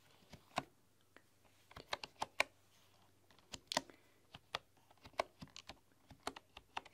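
Long, dark-polished nails and fingertips tap and type across a solid, full-size bamboo computer keyboard with a light wooden frame and bamboo keys. Irregular, quiet keystrokes come through as short, dry, bright clicks that die away almost instantly, centred around 2.3 kHz. A faint low hum sits beneath them.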